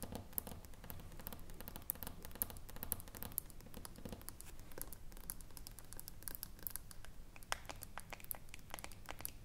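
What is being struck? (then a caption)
Aluminium screw lid on a small glass jar. Long nails scratch the ridged side of the aluminium screw lid on a small filled glass jar. A steady, quiet rasping scratch runs throughout, dotted with many short, bright ticks over a soft low rumble.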